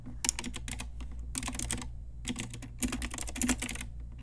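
Long nails and fingertips type on a pink Ajazz typewriter-style retro mechanical keyboard with round plastic keycaps. The result is bright, crisp plastic clicks in quick bursts with short pauses between them, over a steady low hum.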